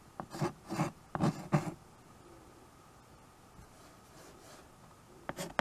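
White chalk held in the fingers scratches writing strokes across a small handheld chalkboard with a wooden frame, giving a quick run of soft, low, rasping strokes. A near-silent pause follows, then a few more brief strokes at the end.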